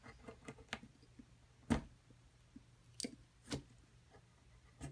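A small metal chisel scrapes and chips at the crumbly surface of a palm-sized solid plaster dig block from a dinosaur excavation kit, held steady on a dark table by a hand with long purple nails. Quiet, dry scratching is broken by irregular, sharp, bright clicks and cracks that die away almost instantly over a faint low hum. Loose powder and chunks are left scattered around the block.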